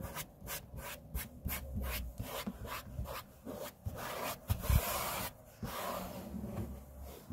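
A hand's edges and flat palm rub across a large, flat, solid grey laminate tabletop, making soft, rhythmic swishing strokes with a low, dull body. A few firmer taps stand out near the end amid the steady rubbing.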